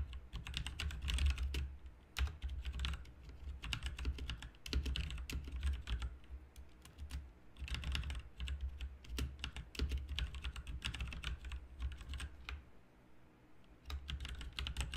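Both hands type with their fingertips on a full-size RGB-backlit mechanical keyboard with plastic keycaps, producing rapid bursts of short, clicky keystrokes separated by brief pauses. A steady low hum sits underneath the bright key clacks throughout.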